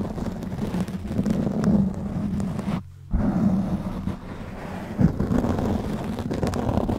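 Fingertips of both hands scratch and rub a black foam windscreen covering a silver microphone head. This produces a dense, low, rumbling crackle that resembles wind noise, with a brief near-silent gap around the middle and a sharper thump near the end.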